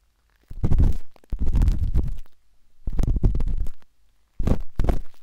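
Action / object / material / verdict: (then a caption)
scrape / silicone microphone ear scraped with a metal-tipped stick / silicone / none. A metal-tipped dot stick with a wooden handle scratches inside the soft, hollow canal of a pinkish-white silicone ear on a binaural microphone. The scratching comes in four close, muffled bursts separated by brief near-silences, heard as deep, rumbling scrapes with almost no bright content.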